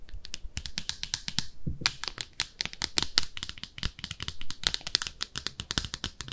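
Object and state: Ceramic soap dish scratched with nails.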